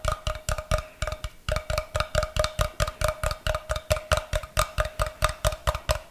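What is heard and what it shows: Fingers tap and scratch the faces and end of a solid block of unfinished light wood as it is turned in both hands. About thirty quick, dry knocks come in an uneven rhythm, with a brief pause near the start. Each knock has a short hollow tone and almost no ring.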